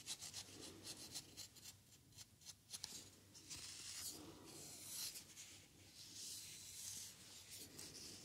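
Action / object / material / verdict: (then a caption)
scrape / foam paint roller scratched with a wooden stick / foam / none. A small white cylindrical foam paint roller sleeve, a hollow tube with a red core visible at the end, is scratched and rubbed along its surface with a wooden popsicle-style craft stick. Quick, bright, scratchy strokes at the start give way to longer, airy rasping rubs with a hissy high edge and little low end.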